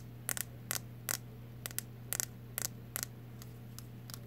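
A solid blue plastic wide-tooth comb with a loop handle has its teeth and handle tapped and strummed with long nails, giving eleven short, bright, crisp clicks at an uneven pace. A steady low hum and faint hiss run underneath.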